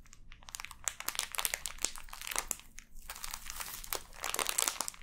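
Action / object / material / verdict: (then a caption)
scrape / plastic film wrapper over a block of kinetic sand / plastic film / none. Long dark-painted nails and fingertips scratch and crinkle the clear plastic film sealing a hand-sized, solid, full block of pink kinetic sand resting on a table. The sound is a dense stream of bright, crackly crinkles and sharp scratchy ticks that rise and fall in quick bursts, with almost no low end and no ring after each touch.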